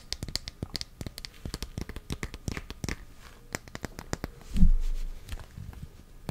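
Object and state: Glass perfume bottle.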